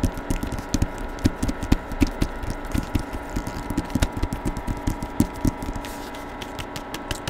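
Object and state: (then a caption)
Hardcover book with paper dust jacket. Fingertips tap rapidly and irregularly on the paper dust jacket of a hardcover novel with a portrait cover, held in both hands close to the microphone. The result is a long series of short, dull, low-heavy taps with almost no ring, over a faint steady background hum.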